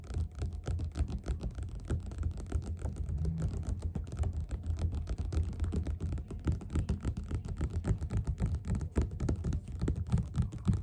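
Both hands tap fast with their fingerpads on the cover of a yellow glossy paperback copy of Othello, which lies flat and closed on a table. The taps come as a dense, irregular patter of soft, dull thumps. They are almost entirely low in pitch, with no bright content, and each one dies away almost at once.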